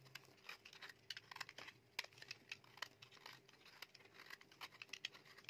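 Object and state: Bar soap shaved with a blade.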